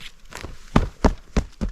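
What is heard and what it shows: An old hand-hewn oak railroad tie is struck during a track inspection, giving a series of dull, low, short thuds, with four distinct, heavy knocks. The tie sounds solid and looks solid on top, but its bottom is believed to be rotted away, and it is due for replacement.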